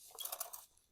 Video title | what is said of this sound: เปลี่ยนกรองเบนซิน Opel Corsa | ไส้หลวมแล้วถ้าเขย่าแล้วมีเสียงคือหลวม